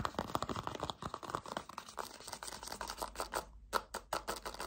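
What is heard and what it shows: Fingertips with short dark-painted nails grip, squeeze and scratch a small white-and-yellow Kamill hand cream squeeze tube with a white cap, made of soft, hollow plastic and partly full. A dense run of quick, crinkly plastic clicks and scratchy rustles follows, with a midrange tone around 1.3 kHz and a bright edge. The sound breaks off briefly near the end before a few louder squeezes.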